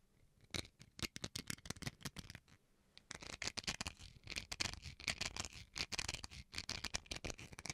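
Fingernails scratch the edge and surface of a small, solid white plastic rice paddle held edge-on. Quick, dry, bright scratches come in rapid bursts, with a brief quiet gap around the third second. After that, the scratching turns denser and more continuous, with a crisp, hissy top end and very little low rumble.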